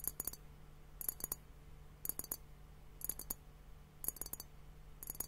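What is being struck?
Glass liquid hourglass timer.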